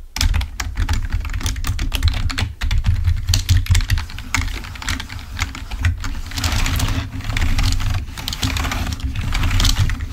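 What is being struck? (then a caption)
Plastic computer keyboard. A full-size, wired black plastic Microsoft membrane keyboard lying on a white table is typed on rapidly with the fingertips of both hands. Dense, quick key clicks with short, dry decay ride over a steady low hum that persists throughout.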